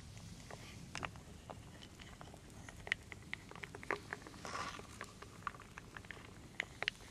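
A wooden spoon, held in a hand with long dark nails, stirs and scoops through a large wooden bowl full of small solid wooden beads, acorns and leaf shapes. Soft, scattered bright clicks and taps sound as the pieces knock together, with a brief rattling swish midway, all over a quiet low background hum.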